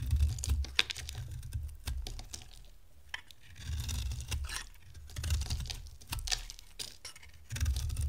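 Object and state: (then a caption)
Dry bar soap being carved. A dry, rectangular, solid pink bar of soap is held in the hand and carved into flakes with a box-cutter blade. Quick, irregular dry clicks and bright scraping snaps come through over soft, low rumbling swells as the blade shaves the soap.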